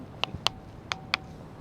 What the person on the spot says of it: It's got all these kind of cup holes, cup markings, and if you hit them with another rock, it makes the noise.